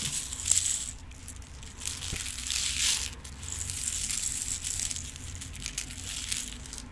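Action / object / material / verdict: shake / clear plastic compartment box filled with small rhinestones / plastic / none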